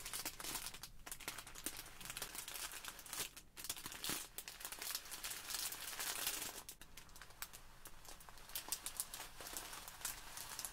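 A small clear plastic bag filled with tiny white polystyrene foam beads lies flat on a wooden table while long pink nails and fingertips press, squeeze and scratch it. The beads shift and crinkle in a dense, bright rustle of quick crackles, with brief quieter pauses.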